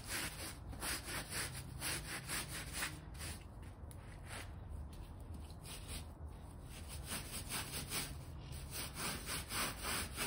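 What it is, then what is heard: Shaggy fabric bath rug being scrubbed. A plastic hand brush with stiff blue bristles scrubs back and forth over a small, rectangular, shaggy fabric bath rug with long fringe rows, once light pink and now gone gray. The rug is dry, sprinkled with cleaning powder, and lies on a foam mat. The result is a steady run of quick, bright, raspy scrubbing strokes, about four per second, over a low rustling rumble.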